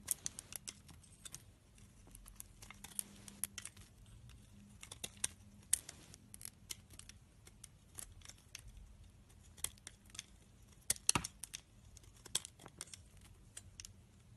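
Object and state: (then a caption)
Bar of soap being scraped. An orange utility knife peels and scrapes curled shavings from a hand-held, rancid, solid yellow soap bar with an embossed logo. Dozens of quiet, crisp, bright cuts and scratches come in a steady, irregular run over a faint low hum.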